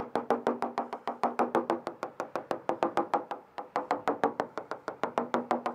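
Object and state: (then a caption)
Fiberglass transom, solid, not delaminated. A hammer taps across a fiberglass boat transom after a moisture meter flagged a couple of areas, giving about 35 short, solid knocks in a quick, steady run. The taps sound solid, and the transom is bonded, not delaminated.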